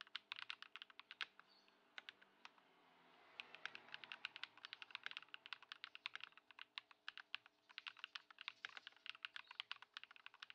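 Fingertips of both hands type continuously on a compact white Ducky One 2 SF mechanical keyboard with plastic keycaps on a wooden desk, modded with Poron foam and swapped to Lumia Matcha switches. A quick, steady stream of short, bright, clacky keystrokes is heard, with a brief lull around the two-to-three-second mark under a faint soft hiss.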